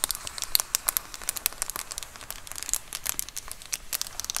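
Long acrylic nails scratch and tap across a large white plastic Amazon Prime bubble mailer lying flat. A rapid run of dry, bright crinkles and sharp little clicks comes from the bubbled plastic, each dying away instantly with almost no low end.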